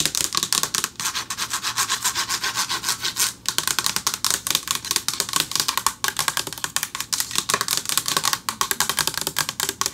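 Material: Metal.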